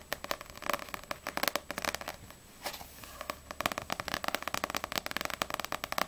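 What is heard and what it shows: Long acrylic nails tap quickly on the glossy paper cover of a small, solid Ousama Game paperback manga book, first on the front cover and then on the back. The taps are dry, bright, rapid clicks with almost no ring, broken by a short softer lull near the middle before the fast tapping resumes.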